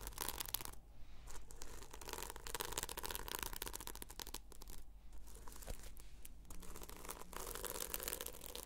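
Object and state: Sequin-covered notebook being scratched.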